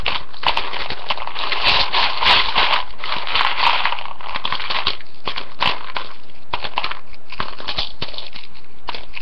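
A hand with long painted nails scrunches, digs and stirs through a ceramic bowl full of dry, uncooked rotini pasta. The result is a dense, continuous crackling and crunching of many small, irregular clicks with a bright, crisp edge.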